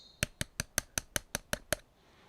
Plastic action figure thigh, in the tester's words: It just feels very hollow